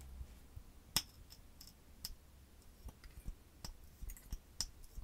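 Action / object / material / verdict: tap / small clear plastic cosmetic tube / plastic / none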